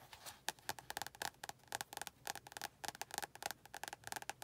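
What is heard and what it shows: Long painted nails tap and scratch the glossy card front cover of a medium-size paperback copy of "100 Words Every Middle Schooler Should Know," a solid paper block held closed in both hands. About two dozen quick, dry clicks come in an uneven patter, each bright and woody with a hollow tone near 860 Hz. Every click dies almost instantly, with a faint scratchy hiss between the taps.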